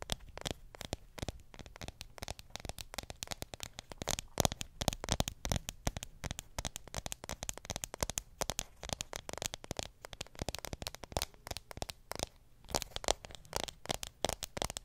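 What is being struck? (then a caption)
Aluminium phone back. Long pink acrylic nails tap and scratch on the solid aluminium back of a black iPhone 7 Plus with a glass screen. A rapid, steady stream of sharp, dry clicks and scraping crackles runs throughout, each tap dying away almost instantly. The result is bright, with a faint low undertone.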